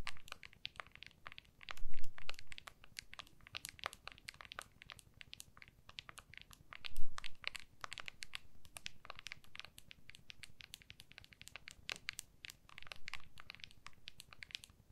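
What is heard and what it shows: Long nails rapidly tap and scratch the back of a small, solid iPhone in a clear plastic case held in both hands. The result is a dense stream of crisp, bright clicks and scratchy scrapes. Two louder, duller bumps stand out near the 2- and 7-second marks.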